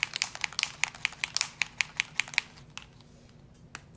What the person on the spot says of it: you hear there's a ball in there so you really want to mix it around mix it around